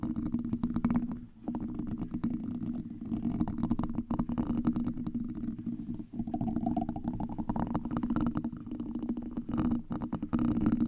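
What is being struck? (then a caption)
Metal wire-mesh microphone grille. Two gold metal massage-stick tools, held in both hands, scratch and tap across a large, hollow, black metal wire-mesh microphone grille. The result is a dense, continuous crackling rasp with a low, hollow resonance around 230 Hz. Brief dips in level break up the texture.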